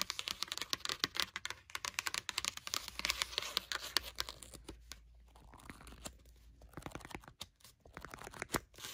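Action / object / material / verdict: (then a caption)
scrape / hardcover notebook with textured paper cover / paper, board / none. Long burgundy nails scratch and tap the textured paper cat-print cover of a hardcover notebook with red page edges. Dense, bright scratching and rapid dry taps fill the first half, then thin out into quieter rustling broken by sharp, isolated taps. Each tap is crisp and dies away almost instantly, with little low end.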